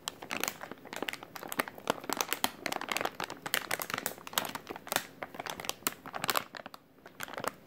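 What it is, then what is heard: Plastic packaging pouch being crinkled. A soft, hollow white plastic-film packaging pouch with printed text is held in both hands while the fingertips squeeze and crinkle it. The result is a dense stream of sharp, bright crackles and crinkles with quick bursts that die away almost instantly, and almost no low end. It pauses briefly near the end before a few more crinkles.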